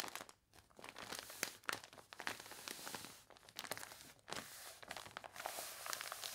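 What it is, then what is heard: Water-wrinkled paper catalog page. An open glossy paper catalog with wavy, water-wrinkled pages lies on a table while long nails scratch and fingertips rub and press the crinkled page surface. The result is a steady run of crisp, bright crinkling and crunching with sharp scratchy ticks, broken by brief quiet pauses.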